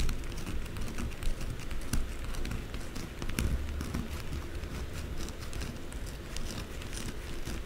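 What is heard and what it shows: Long blue acrylic nails scratch and tap the face of a solid white bar of soap held upright in the other hand. The result is a fast, steady, dense scratching texture with a low, rumbly body, broken by a few sharper taps.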